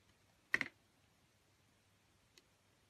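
A metal utility blade shaves curls off the surface of a solid oval green translucent bar of soap with an embossed face, held in a long-nailed hand. A quick cluster of crisp, bright scraping clicks comes near the start, followed by a faint single tick later over near silence.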